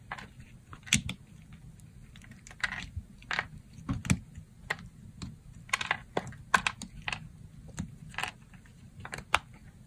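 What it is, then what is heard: Dry soap bar being sliced. A dry pink soap bar held on the palm is sliced into thin plates with a yellow box-cutter blade. The cuts come as a string of short, crisp, bright crackling snaps at an irregular pace over a faint low background hum.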